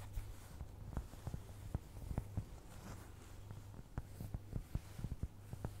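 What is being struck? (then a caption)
Round flat cork trivet. Fingernails scratch slowly across the surface of a round, flat, solid cork trivet. The sound is quiet, with soft, dry scratches and brief ticks over a steady low hum.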